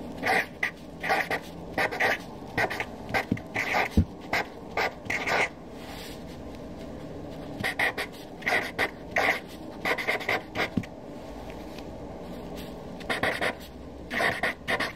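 A black Sharpie felt-tip marker writes a list of names on a fresh white paper sheet resting on a desk, its tip rubbing the paper. Short bursts of squeaky, scratchy strokes with a bright edge come in clusters, separated by brief quiet pauses between words.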